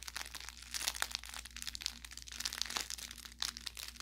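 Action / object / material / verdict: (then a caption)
scrape / fabric plush toy with crinkle filling / fabric / none. An orange velour plush carrot cat toy with crinkle filling is squeezed with the fingers while its fabric tag is handled. This produces bright, rapid crinkling and crackling bursts over a faint steady low hum.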